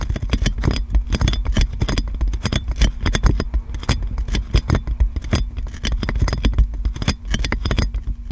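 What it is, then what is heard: Cling film wrapped on a microphone, scratched and tapped. Long nails scratch and tap clear plastic cling film wrapped around a metal microphone, making dense, rapid crinkling and tapping. The clicks are sharp and bright over a heavy low-end thump, with a steady low hum underneath throughout.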